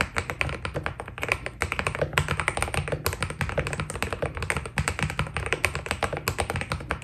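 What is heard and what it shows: Fingertips type steadily on a white Keydous NJ80 mechanical keyboard with PBT plastic keycaps. The rapid stream of short, dry key presses has a deep thocky body under bright clicky tops, each stroke cut off almost at once.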